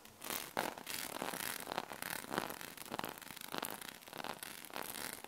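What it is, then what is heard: Metal magnetic balls. A sheet of small solid metal magnet balls is scratched by long nails in close-up, then held and folded in the hand. Dense, bright scratching and rustling runs throughout, broken by quick clicky surges as the balls shift against each other.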